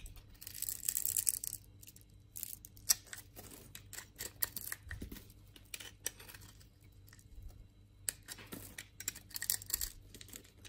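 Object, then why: Bar of soap. A utility knife blade shaves and scrapes a solid rectangular bar of green soap with an embossed pattern, held in the palm, sending flakes falling off. Quiet, dry, bright scraping rasps come in short bursts, broken by sharp clicks where the blade catches and releases.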